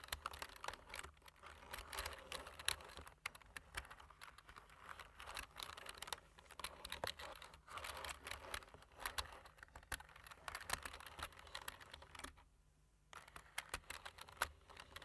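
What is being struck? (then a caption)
Plastic computer keyboard. Fingertips of both hands type on a low-profile plastic computer keyboard with black plastic keys and a light frame, with rings on the fingers sometimes touching the keys. Quick, bright, dry clicks patter in uneven bursts over a faint low hum. The typing stops briefly near the end, then resumes.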